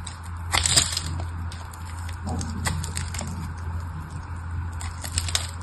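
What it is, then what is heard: Bar of soap. A small craft knife blade scrapes and shaves flakes off the surface of a hand-sized, solid red bar of soap held in one hand and already partly carved. Crisp, crackly scraping strokes with bright clicky edges come in uneven bursts, the strongest near the start and again near the end. A steady low hum runs underneath throughout.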